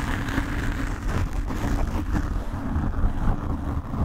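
Nail tips of both hands slowly scratch the black foam windscreen cover on a desk microphone. It makes a steady, dense, rumbling scrape that is heavy in the low end with a muffled, rough texture and almost no brightness on top.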